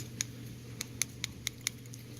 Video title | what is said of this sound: Watch gang wheel watch unboxing October 2018 | it sounds like plastic obviously